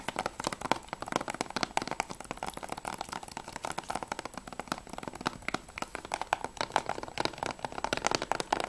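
Long nails tap fast and scratch across the back cover and edge of a closed, hollow grey plastic PS3 game case. The result is a dense stream of quick, dry clicks with crisp scratching between them, centred around 890 Hz. Each tap dies away almost instantly.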